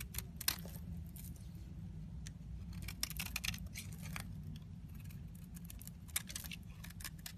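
A solid yellow soap bar with an embossed logo is held in hand and scraped with a metal craft knife blade. Short, bright, crackling scrapes come in quick irregular bursts over a steady low hum, with a few sharper clicks standing out.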